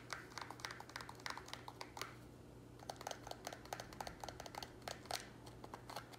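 Fingernails and fingertips tap quickly on a small, empty, hollow square black plastic nursery pot held in both hands, making about thirty short, clicky plastic taps with a hollow tone near 740 Hz and bright edges. The taps come in rapid bursts with a brief pause just after two seconds, over a faint steady low hum, and each tap dies away almost at once.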